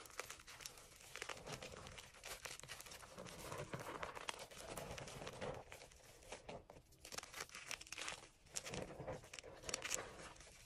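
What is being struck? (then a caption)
Gym chalk chunks. Small solid chunks of gym chalk dyed green and blue, taken from an enamel bowl, are held in the palm and crumbled between the fingers. The result is a quiet, dense, continuous crunching and crinkling made of many tiny dry crackles, mostly bright with little low end. The texture swells and eases in waves throughout.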